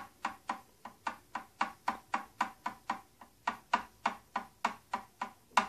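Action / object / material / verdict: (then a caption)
tap / hard plastic box tapped with fingernails / hard plastic / none. Long painted nails tap and scratch an old, medium-size, hollow-looking purple and silver hard plastic tattoo kit box, on both its silver plastic part and purple plastic body. About 19 short, dry, clicky taps sound in an uneven rhythm, each with a hollow midrange tone near 1 kHz that dies away almost instantly.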